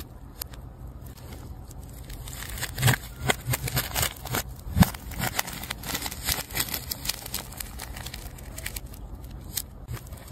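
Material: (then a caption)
Plastic tape. A metal scalpel tip scrapes and cuts through the layers of a large, solid ball of multicolor plastic tape. The result is irregular crackling, tearing bursts over a steady low hum, with the sharpest snaps near the three- and five-second marks.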